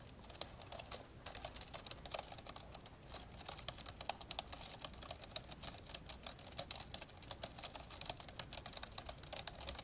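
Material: Plastic.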